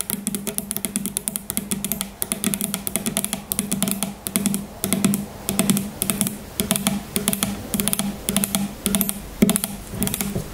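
Long nails tap quickly on the sides of a tall, grey plastic shampoo bottle that is partly filled and standing on a table. The result is a dense run of short, bright clicks over a steady hollow tone near 210 Hz, with the tapping coming in loose, uneven bursts.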